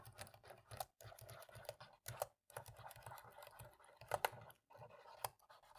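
A cotton swab scratches in the gaps between the black plastic keys of a dirty laptop keyboard while the other hand rests on the palm rest. Quiet, dry scratching and rubbing comes in short bursts separated by brief silences, with a few sharper clicks near the end.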